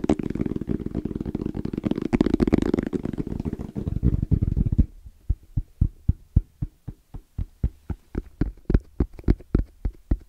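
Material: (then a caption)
EVA foam. Fingertips tap on the face of a small, closed, hollow black zippered hard case with orange trim and a fabric-covered EVA shell. For the first five seconds the taps come fast and dense, blending into a continuous low, muffled drumming. After that they slow into separate, evenly spaced dull thumps that stop short with no ring.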